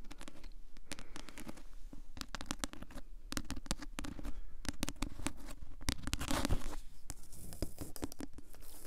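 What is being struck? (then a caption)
Paperback book with glossy paper cover. Long acrylic nails tap and scratch the glossy paper cover of a thick, solid paperback novel. The clip is a dense run of quick, dry clicks and brief scrapes with a low, soft body. It builds to a longer scratching swell near the middle before settling back into steady tapping.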